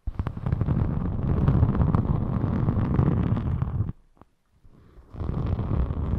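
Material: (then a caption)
Foam. A thin rainbow glitter foam craft sheet is held up close and scratched with long nails and fingertips, making a dense, muffled, low rumbling scratch. The scratching runs steadily for about four seconds, drops to near silence with a faint tap, then resumes for the last second.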